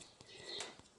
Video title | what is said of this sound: Вольер із сітки рабиці будуємо своїми руками, за власним проектом з чого було, частина 2 | уже позастивало так, що навіть коли стукаєш, воно аж дзвенить